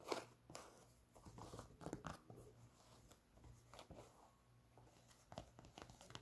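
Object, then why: Knit textile sneaker with foam sole. Long nails scratch the white knit textile upper and foam Boost sole of an empty white Adidas NMD sneaker. The result is a quiet run of dry, crinkly scraping bursts, with a low steady hum underneath.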